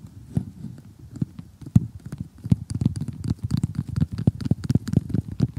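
Three fingertips with short painted nails tap and scratch across an assembled flat cardboard jigsaw puzzle showing giraffes and zebras. The taps come as a quick, irregular series of dull, low, muffled thuds that stop almost instantly, with soft scratchy rustling between them. The pattering grows busier and louder toward the end.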